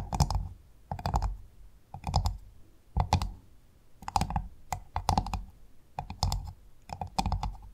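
Long fingernails on both hands tap and scratch across the hard, ridged brown shell of a large, closed freshwater pearl mussel. Quick bursts of dry, clicky taps arrive about once a second, each with a bright edge, a hollow midrange knock and a soft low thump. They die away almost instantly into near silence between bursts.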